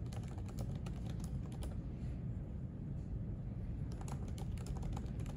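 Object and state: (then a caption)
Laptop keyboard being typed on. Fingertips type fast and continuously on the plastic keys of a silver aluminium MacBook laptop resting on a white desk. Soft, rapid clicks and taps sit over a steady low rumble, with a brief lull in the typing midway before the clicking picks up again.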